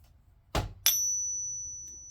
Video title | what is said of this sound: Vote Now!! Should I Dump My Fake Morgans Dollars On The Hotel Scammers? Yes or No? Would You Do It? | you should be able to hear the difference there. Much higher pitched.